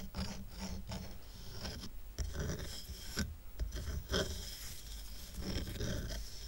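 Fingertips and nails scratch the top and sides of a small square stack of dark, rough, solid wooden coasters tied with red-and-white twine. The result is a steady dry rasping with a low rumble and a thin bright hiss. Brief louder scrapes stand out now and then.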